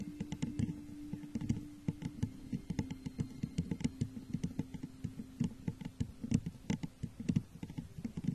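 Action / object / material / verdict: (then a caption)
tap / textured glass jar / glass / none. Long nails tap and scratch the sides of a clear, crackle-textured glass jar, hollow and empty, set over a microphone. A rapid, irregular patter of many short, dull clicks sounds with soft scraping in between, each tap dying almost at once. A faint low hollow tone sits under the taps.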